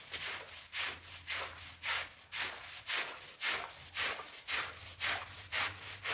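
A long-handled push broom brushes and scrubs a mostly dry, red and black ladybug-shaped synthetic pile rug lying on a marble floor. It makes a steady rhythm of about two strokes per second, each a bright, scratchy swish that fades quickly, with a faint low hum underneath.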